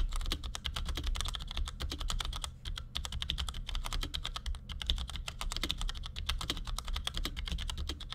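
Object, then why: Plastic mechanical keyboard. Fingertips from both hands type quick taps on a compact black plastic Cherry G84-4100 keyboard with ML switches resting on a desk. A fast, continuous stream of short, bright plastic clacks runs over a steady low hum. Each keystroke dies away almost instantly.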